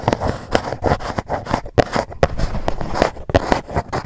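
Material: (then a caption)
Cardboard. Long nails scratch and tap across the lid of a dark GUCCI cardboard gift box. A steady run of dry, papery scrapes is punctuated by quick, sharp taps that stop dead with no ring, and the sound stays mid-toned and muffled rather than bright.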